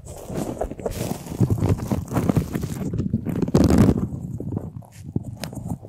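Fingernails scratch along the ribs of a large, hollow, white flexible plastic duct tube held close to the microphone. The result is a dense, irregular rasping and rubbing with a heavy low-end rumble, broken by louder bursts of bright, hissy scraping.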